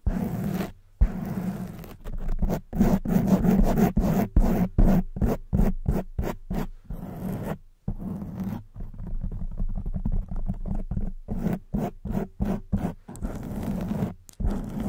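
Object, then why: Foam microphone windscreen. Long white nails scratch the sides and top of a black porous foam windscreen on a silver microphone. A steady run of rough, scratchy strokes comes in short bursts separated by brief silent gaps, with a heavy low-end rumble and a muffled, close-up texture.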